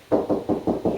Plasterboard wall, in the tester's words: as you move away it's hollow again